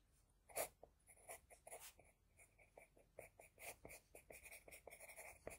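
An HB pencil scratches a flat sheet of drawing paper in many short strokes around the eye of a drawing. Each stroke is a soft, dry, quiet scratch with a bright papery hiss and a steady tone near 2 kHz. The strokes come in a quick, uneven rhythm and stop sharply.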